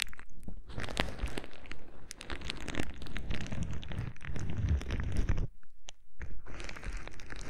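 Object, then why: Plastic bubble wrap. Clear plastic bubble wrap is held against a microphone while fingers quickly pinch and pop its bubbles. The result is a dense run of sharp crackling pops and crinkles over a heavy, boomy low rumble from the close contact, with bright snaps throughout. There is a brief near-silent gap before the popping resumes.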